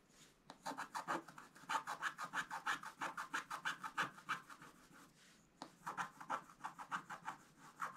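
A wooden stylus scratches a flat, thin scratch-art card with a black coating over gold foil, making quick, rhythmic rasping strokes at roughly three per second. The dry, bright scraping centers around 1 kHz, pauses briefly after about four and a half seconds, then resumes.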